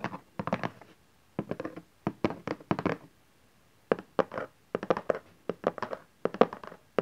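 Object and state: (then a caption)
Cardboard box tapped. Fingertips and nails tap on the bottom face of a cardboard camcorder box resting on satin fabric, then hands hold its sides. Rapid clusters of dull, hollow thunks and taps come in bursts separated by short pauses, each hit dying away almost instantly.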